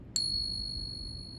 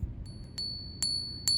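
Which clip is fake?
The second.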